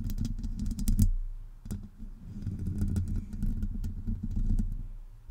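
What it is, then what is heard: Metal microphone grille. Long acrylic nails of both hands scratch the hollow domed metal mesh grille of a Blue Yeti USB microphone. The result is a dense run of rustling, clicking scrapes over a deep, boomy low rumble, with brief bright ticks.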